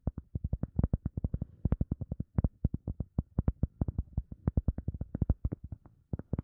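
Fingertips and nails tap and scratch quickly on a round, solid, soft teal EVA foam sponge disc. Around 47 short, dull, low thuds come in a rapid, uneven stream, each dying away almost at once with no ring and little brightness.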